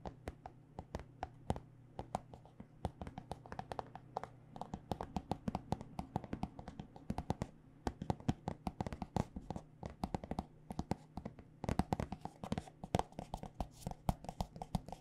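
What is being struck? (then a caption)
Plastic squeeze tube filled with lotion. Long dark nails tap rapidly and continuously on a white plastic body butter squeeze tube filled with lotion. The taps are short and dry, with a soft, dull knock and brief clicky tops over a faint steady low hum.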